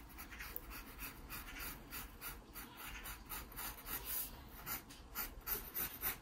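A wooden graphite pencil scratches strokes along a pear's contour on an open paper sketchbook page. Quiet, uneven rasping strokes repeat at a quick pace, each a short bright scratch over a low, steady background hum.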